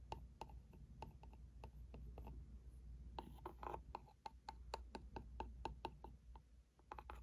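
The tip of a plastic pen taps and scratches the front face of a small printed cardboard ink cartridge box held in one hand. A quick, uneven series of short, dry clicks with light scratching rides over a steady low hum.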